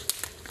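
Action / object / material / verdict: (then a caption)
knock / fallen tree branch, wood / wood / dry. A fallen tree branch gathered for firewood is handled, giving three short, sharp, bright cracks with a crinkling, brittle texture and almost no low end. The branch sounds dry, since it has hardly rained lately and the nearby trees are very dry.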